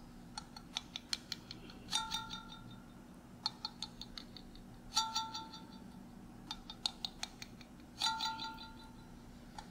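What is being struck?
Glass mason jar with metal screw lid.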